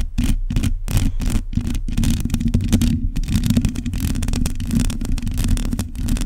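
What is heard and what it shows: Long nails on both hands scratch the uncovered metal mesh grille of a black condenser microphone. The sound is a dense, continuous scratching and rasping, with low rumbling thumps underneath and bright, rapid strokes that run together without clear breaks.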